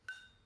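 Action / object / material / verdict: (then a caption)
tap / nickel-electroplated seashell / nickel / metallic. A seashell coated in conductive paint and electroplated overnight with nickel is tapped once, giving a short, bright metallic clink. The ring centers near 1.5 kHz and fades within a fraction of a second, and the shell now sounds like metal.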